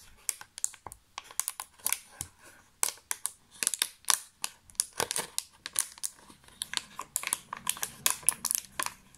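Fingertips tap and press the raised cavities of a thin, empty, clear thermoformed plastic chocolate box tray held close up. The result is a rapid, uneven run of dozens of sharp, bright crinkling clicks and pops, each dying out almost instantly, with almost no low end.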